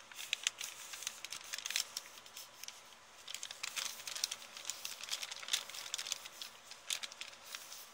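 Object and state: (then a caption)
Thin paper bag, crinkled and scratched. An empty, thin printed kraft paper shopping bag with blue print, held up in both hands, is crinkled and scratched with long painted nails. Dense, bright crinkling and scratchy crackles come in quick irregular bursts, quiet overall with almost no low end.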